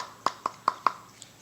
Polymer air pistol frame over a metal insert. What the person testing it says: you can't hear anything there's definitely metal behind that